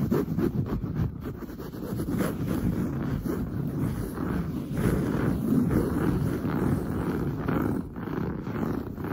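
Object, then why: Padded woven fabric sofa upholstery. Long blue nails scratch fast and hard across padded, grey-brown textured woven sofa upholstery. The result is a dense, continuous rasping rustle, weighted toward low and middle tones, with rapid strokes that blur together at a steady level.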